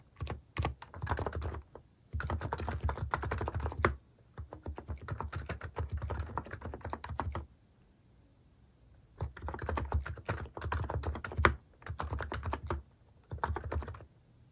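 A plastic mechanical keyboard with cat-themed keycaps and a plastic case is typed on continuously as fingertips press the keys. Dense bursts of short, clicky taps with a low thocky body come in several runs, separated by brief pauses, including a near-silent gap around the middle.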